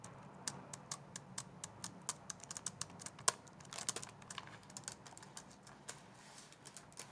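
A plastic laptop keyboard, a white plastic base with black keys, is typed on with long nails while held against the shoulder. About 29 quick, sharp, bright clicks tap out in an uneven rhythm, each dying away almost instantly over a low, quiet background hum.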